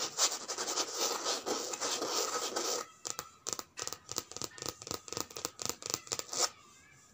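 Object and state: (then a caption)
Coated canvas handbag scratched by nails. Long red nails scratch and rub the flat surface of a white and grey checkered coated-canvas handbag with a strap, lying on a woven mat. A steady, bright, hissing rub runs for about three seconds, then breaks into a quick, uneven run of short, crisp scratches that ends abruptly.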